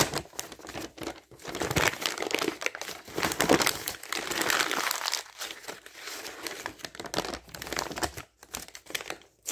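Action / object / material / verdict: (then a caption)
scrape / thin printed paper flyer / paper / none. Thin printed paper advertising flyer pages, laid flat on a table, are torn and crumpled by hand. The result is a steady stream of dry, crisp crinkling and ripping with bright, papery texture and many quick rustles, pausing briefly now and then.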